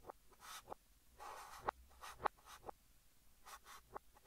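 Fingertips hold a yellow chalk stick and write Korean text on a large, flat green chalkboard, scratching it across the surface. Soft, breathy scraping strokes with bright hiss alternate with six sharp, dry taps of the chalk against the board, all at a quiet level.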